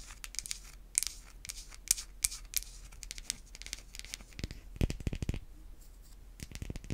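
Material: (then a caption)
Soap. A solid, hand-sized white bar of soap is scratched and tapped with long white acrylic nail tips. Quick, dry scratching and crisp taps come in clusters, with bright, high hiss and sharp clicks that stop almost instantly. Near the end, a few denser, fuller taps stand out.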